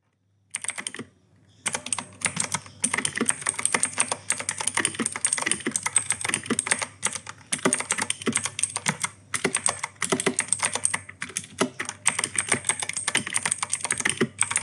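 Fingertips of both hands type rapidly on a full-size E-Yooso K-620 mechanical keyboard with a plastic case, grey and white plastic keycaps, clicky Outemu Blue switches and an RGB backlight. A fast, steady stream of sharp, bright clicks with quick clacky key bottoming-out, broken by a brief pause near the start and a few short gaps later.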